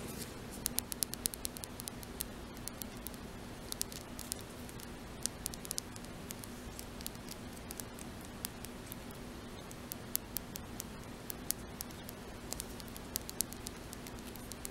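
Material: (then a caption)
Glass. Long natural fingernails tap and scratch the glass sides of a small square lilac glass nail polish bottle with a metallic cap, held in one hand and apparently filled with polish. Quick, bright, irregular clicks and faint scratchy rustling sound over a quiet, steady low hum.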